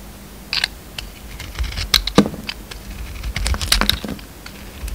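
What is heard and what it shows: An oval, solid pink soap bar with a purple glitter coating is held in the hand and shaved with a utility knife. Irregular, crisp scraping and clicking cuts sound out in quick, uneven bursts, bright and dry with a low hum underneath.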